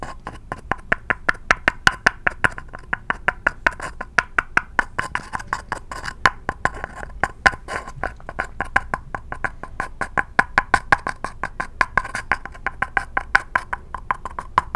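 Fingertips and nails tap and scratch the side of a small, empty, hollow red-and-white striped paper cup held sideways close to the microphone. Quick, dry taps fall steadily throughout with a hollow papery resonance in the midrange, each dying away almost instantly. A faint scratchy rustle fills the gaps between them.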